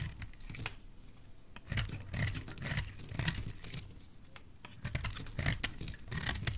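A metal utility knife blade scrapes and shaves a solid oval bar of dry white soap held in fingers with dark nails. The blade makes dry, crackly scraping strokes in bursts, with bright rasping edges over a soft low rumble.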